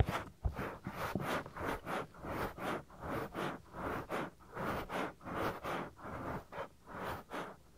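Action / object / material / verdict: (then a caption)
scrape / silicone ear of a binaural microphone / silicone / none. Fingertips rub and scratch the lower part of a soft, solid silicone ear on a 3Dio binaural microphone, near the ear opening. Quiet, evenly paced swishing scrapes come in separate rasping bursts that reach up into bright highs over a dull low rumble. An occasional soft bump is heard as the fingers press the ear.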